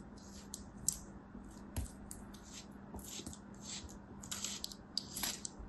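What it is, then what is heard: Kinetic sand being sliced. A thin steel utility knife blade repeatedly slices through a palm-sized solid mound of beige kinetic sand held in a hand with long white nails, in a cutting, scratching motion. Each slice gives a quick, bright, crisp hiss and crunch that stops almost at once. A faint steady low hum sits underneath throughout.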